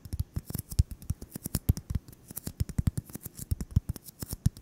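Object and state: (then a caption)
Styrofoam ball tapped and scratched. A solid white styrofoam ball about 8 cm across, held in the hands, is tapped and scratched with fingertips and short nails. About three dozen quick, irregular taps land as dull, low thumps, each with a faint bright scratchy edge. Every tap dies away at once with no ring.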